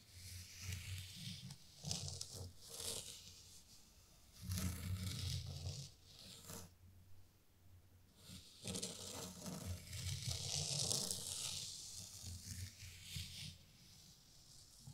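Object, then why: Fine sand in a wooden tray. A small rake scrapes patterns through fine white sand in a wooden zen garden tray. It makes soft, gritty, bright scraping strokes in uneven bursts, with a low rumbling undertone and quiet pauses between passes.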